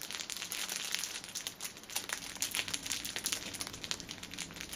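Fingers squeeze and scratch the ends of a cellophane-wrapped six-pack of pocket tissues in clear plastic film resting on a table. The result is a steady stream of bright, dry crinkles and sharp crackles with almost no low end, briefly dipping in loudness before picking up again.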